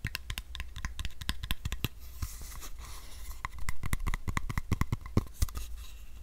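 Fingertips and nails tap and scratch around a hand-sized, capped, hollow white plastic supplement bottle with a paper label. Quick, sharp clicky taps come first, then a stretch of soft, hissy scratching across the surface, then more rapid taps. A steady low hum sits underneath throughout.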